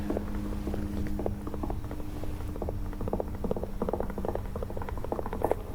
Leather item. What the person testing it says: The hollow leather sound, that's a good one.